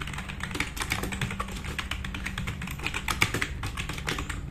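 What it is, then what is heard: Plastic mechanical keyboard. A black RGB-backlit tenkeyless plastic mechanical keyboard with plastic keycaps, sitting on a wooden desk, is typed on quickly with the fingertips of both hands. A dense, steady stream of sharp clicky key strikes with bright tops and a low hum underneath, each tap dying away almost instantly.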